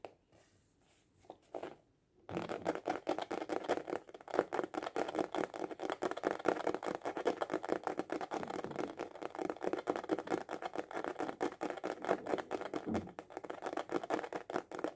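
A small, hollow hard-shell glasses case with a printed cover is held upright and tapped fast with the fingertips and short nails. After about two seconds of near silence, a dense stream of quick, hollow clicking taps begins, centered in the midrange with dry, short-lived attacks. The taps continue steadily to the end.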